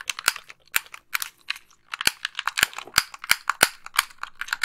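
Long nails tap and click the buttons and thumbsticks of a white, hollow, plastic wired game controller held close to the microphone. The result is a quick, irregular series of sharp, dry, bright plastic clicks and taps with almost no low end. Each click dies away instantly.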